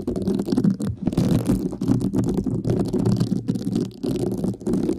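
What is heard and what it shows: A hand with long nails holds a thin, solid, flat rectangular pink woven synthetic scouring pad with a bound edge while a thin black brush-tipped stick, likely a mascara wand, scratches across it. The result is a dense, continuous scratchy rasp weighted toward the low end, with a faint pitched hum and only brief dips between strokes.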